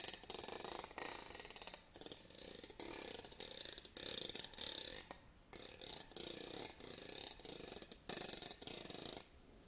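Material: Wood.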